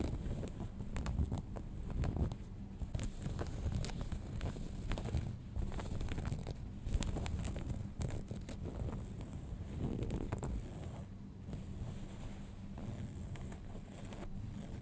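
Fingertips and nails scratch light-blue cotton denim jeans lying flat, working around the front pocket with its metal rivet and along the seams. The result is a quiet, continuous, low, rumbling scratch made of many short, dense scrapes, with a faint high hiss underneath.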